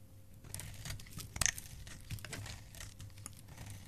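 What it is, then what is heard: Bar soap scraped into shavings. A metal blade scrapes a solid white bar of soap held in the fingers, shaving it into curls. Short, dry, crinkly scraping strokes follow one another, with a brighter, louder crackle near the middle, over a low steady hum.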